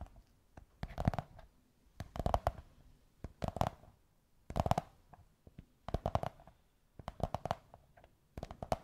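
Long white nails scratch and tap a beige kraft cardboard tube, producing short bursts of quick, dry taps and scrapes separated by brief pauses. The sound is dull and hollow, with a muffled low thump and a boxy midrange tone that stops almost immediately after each tap.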